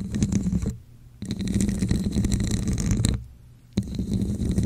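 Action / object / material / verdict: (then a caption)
scrape / ridged plastic cup / plastic / none. Long nails scratch the ridged sides of a hollow red plastic cup with a diamond texture, held over the mic. The result is a low, muffled, rumbling scrape with a faint bright edge, in three bursts separated by two short near-silent pauses.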